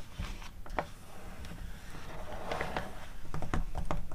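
Long acrylic nail tips tap rapidly on the pages of an open glossy paper magazine catalog, and pages are turned. Quick, short, dry taps and papery rustles come at an uneven pace over a low, steady rumble, growing slightly louder toward the end.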